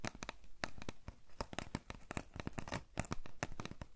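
Long nails tap and scratch a tall, hollow cardboard potato chip canister with a printed label, likely holding chips, while it is held in the hands. A rapid, uneven string of dry, papery clicks and scrapes is heard, with a hollow low thump under each sharp tap and bright crackle on the scratches.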